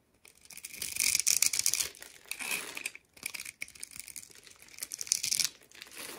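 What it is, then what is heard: Bar of soap being scraped. A utility knife blade cuts and scrapes the pre-scored grid surface of a solid, hand-sized purple soap bar held in one hand, breaking it into small cubes. Bright, dry crackling and scraping come in uneven bursts with brief pauses between them. Small pieces crumble off as the blade works through the scored soap.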